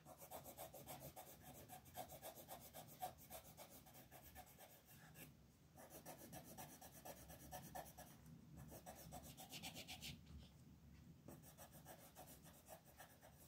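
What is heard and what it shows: A wooden colored pencil tip rubs in short, rapid scratching strokes over small circles on a flat, thin paper coloring page held down by a hand with red nails. The result is a steady, dry, rasping scratch with a bright, papery hiss, repeating at a quick pace. Brief pauses break up the strokes.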